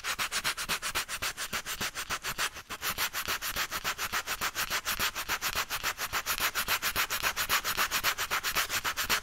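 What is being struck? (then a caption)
Rubber bicycle inner tube. Fingertips rub a small piece of sandpaper back and forth on one spot of a black, hollow, deflated rubber bicycle inner tube held up in a loop, roughening it for a patch. Quick, steady strokes make a bright, hissy scratching rhythm with almost no low end, with a brief dip near the middle before the strokes grow slightly louder.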